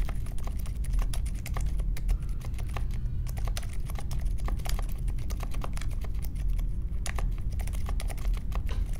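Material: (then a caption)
Plastic. Fingertips type steadily on the plastic keycaps of a compact mechanical keyboard with a metal case and Silent Alpaca switches, a Polaris, resting on a marble desk. The keystrokes come as a dense run of soft, muffled taps with a deep, low-heavy thud and very short decay, and the level stays even throughout.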